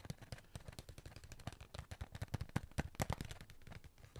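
A sealed cardboard Pringles tube is held in hand and tapped quickly with fingertips and nails on its side and lid. About thirty dry, hollow taps sound in a rapid run, mostly low and dull, each dying away almost at once.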